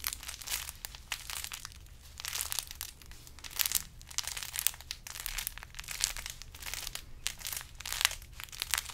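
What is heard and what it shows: A large carrot-shaped decoration wrapped in burlap is squeezed and scratched with the fingers. Dense, dry crinkling and scratching rises and falls in quick, bright bursts over a faint steady low hum.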